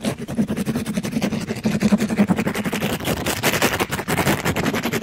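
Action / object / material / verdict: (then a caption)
scrape / mesh-covered scrub sponge / plastic mesh / none. A black-gloved hand rapidly scrubs a palm-sized, pink glittery mesh-covered sponge against a microphone grille. It makes a dense, fast, rough scratching and rubbing with a low hum-like tone near 200 Hz underneath. The strokes grow brighter and harsher toward the end.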